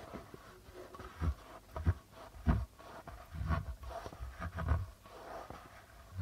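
Fingertips tap and rub the white plastic membrane of a hollow darbuka drum. Soft, deep thuds with quick decay rise out of a quiet rustling of rubbing, with about five louder taps standing out at an uneven pace.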